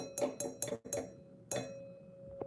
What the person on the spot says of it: this is how we find the frequency of the glass you have to tap it